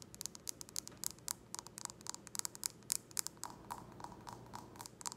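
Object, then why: Glass drinking tumbler. An empty clear round drinking glass tumbler is tapped and scratched on its base with long nails, giving about 29 quick, bright, dry clicks at an irregular rhythm. Short scratchy rasps run between the taps, and a faint glassy ring lingers behind the taps in the second half, all at a soft, close level.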